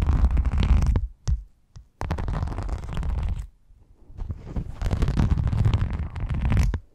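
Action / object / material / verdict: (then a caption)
scrape / rhinestone mesh sheet / rhinestone mesh / none. Long nails scratch across the studded surface of a silver rhinestone mesh sheet held close over a foam-covered microphone. The sound is a dense, deep scraping rumble in three main bursts separated by brief pauses, with a few short isolated scrapes in the gaps.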